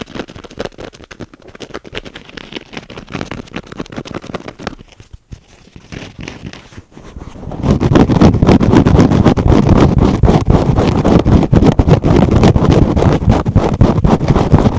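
A hand-sized kitchen sponge with a teal foam layer and a green scrub pad is held in both hands and scratched with the fingernails of both hands. Fast, dense scratching rasps low and muffled at a soft level for about seven seconds, then turns much louder and fuller as it continues to the end.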